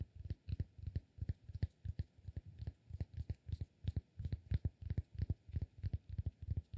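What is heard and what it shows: Fingertips and short nails tap and scratch the surface of a palm-sized, solid, rectangular cork block held in one hand. The result is a quick, uneven series of soft, dull, low thuds that die away almost instantly, with faint brighter scratchy edges on some taps.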